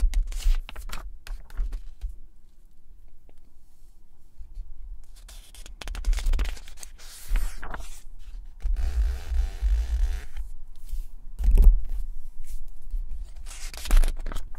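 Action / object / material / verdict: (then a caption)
scrape / glossy paper magazine pages / glossy paper / none. A flat hand and fingertips rub and scratch across the glossy paper pages of a large, thick September 2007 Vogue magazine lying open on a red cloth, then turn a page. Soft, dry scratching and brushing come in many short strokes, with louder crinkly, bright rustling bursts as the page moves, over a low, quiet rumble.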